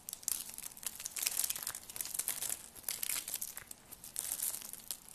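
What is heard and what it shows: A thin, ribbed, pastel purple dry soap curl strip, brittle and solid, is held in fingertips with long lavender nails and crushed and snapped into flakes over a pile of soap shards. The sound is a quiet, dry run of bright, crinkly crackles and crunches in uneven bursts, with almost no low end and no ringing after each snap.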